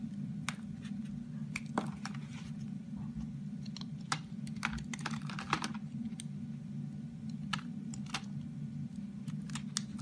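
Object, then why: Bar of soap cut with a blade. A solid rectangular orange bar soap, held in fingers with pink nails, is carved with a box cutter blade, and shavings fall off as it is scraped and cut. Short, crisp clicks and bright scraping snaps sound irregularly over a steady low hum.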